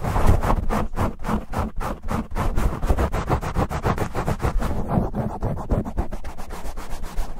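Fingertips and nails scratch aggressively at a black foam windscreen on a silver USB microphone, with cupping rubs from both hands. The result is a rapid, irregular stream of loud, close scratching and muffled rubbing. It is heavy in low rumble, with short, dry bursts that don't ring.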